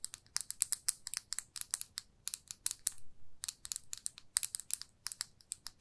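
A small glossy red plastic lipstick tube with a metal band is held in the fingers and tapped and scratched with long nails. Roughly thirty quick, dry, bright clicks sound in irregular bursts with no ring, and a short pause near the middle is filled by softer scratching swells.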